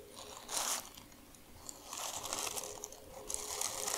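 A crumpled sheet of thin white tissue paper from shoe packaging is crushed, crinkled and scratched by hands with long nails. Bright, dry crinkling comes in bursts, with a short loud rustle near the start and longer stretches of crackling later, and almost no low end.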